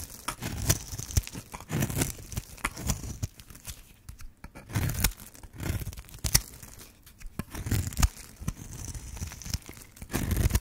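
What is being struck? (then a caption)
Bar of soap cut with a blade. A black and white striped bar of dry solid soap is held in hand while a metal blade carves a grid into it and scrapes off crumbly cubes. Dry, crisp cutting and crumbling crunches repeat with a low, soft body and bright scraping edges.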